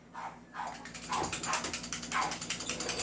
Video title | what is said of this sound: Review and Unbox of Mid Class and High End of 4.3 PistoI | May naririnig ka kasi hindi siya upgraded.